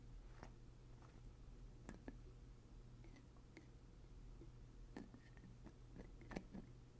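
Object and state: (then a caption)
Glass syrup bottle with plastic screw cap. Fingertips twist the black plastic screw cap on and off a small, partly filled glass maple syrup jug with a handle. Quiet, short clicks and scraping ticks come and go over a steady low hum, with a few slightly louder snaps near the middle and end.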